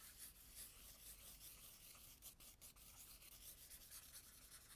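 A black charcoal stick, held by a hand with long nails, is rubbed and scribbled hard across a spiral-bound tan toned-paper sketchbook lying flat, leaving dense dark shading. The result is a continuous bright, scratchy rubbing texture that swells and dips slightly with the strokes, over a faint low hum.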